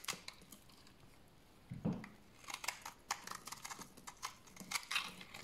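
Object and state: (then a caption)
Dry bar soap being shaved. A large, solid, dried tan bar of soap is held in the hand and shaved with a utility knife blade into curled flakes. Short, dry, bright scraping and crackling strokes come in quick bursts, with one duller, lower scrape partway through. The sound is quiet and close, with no ring after each stroke.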